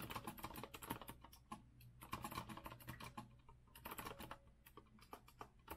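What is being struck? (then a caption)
Mechanical keyboard with metal frame and round plastic keycaps. Fast typing with both hands' fingertips on a rose-gold retro Azio mechanical keyboard with a metal frame and round plastic keycaps. It produces a dense run of crisp, clacky keystrokes with brief lulls around the 1.5 and 3.5 second marks. Each key strike is short and sharp, with little ring.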